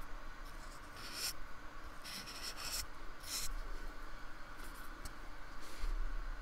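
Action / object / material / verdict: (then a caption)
scrape / paintbrush rubbing a polystyrene foam block / polystyrene foam / none. A fine paintbrush with a metal ferrule rubs and strokes the textured surface of a small, solid, painted square of white polystyrene foam lying on a wooden table, while the other hand holds it steady. Soft, uneven brushing and scratching strokes come in short bright bursts over a steady low hum.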